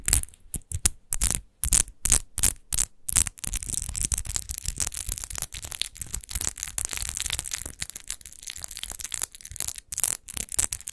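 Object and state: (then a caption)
Textured glass bottle scratched with nails. Long nails scratch fast across the raised rose-relief pattern on the base of a large, hollow, textured glass rose-shaped wine bottle. The first few seconds are short, bright, gritty bursts separated by brief silences, which then run together into dense, continuous rasping with a dull low rumble underneath.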